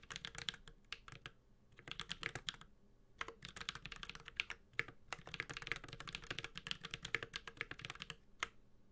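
Steady two-handed fingertip typing on a Space65 Cybervoyager 65% mechanical keyboard with a white-gold aluminum case, carbon fiber plate, plastic keycaps and tactile Holy Panda switches. Bright, crisp clicky keystrokes arrive in quick bursts separated by short pauses. Each stroke cuts off almost instantly.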